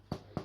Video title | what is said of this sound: Make some homemade rolls and bread with me. ♡ recipes are included ♡ | tap it on the bottom if it's Hollow sounding it is cooked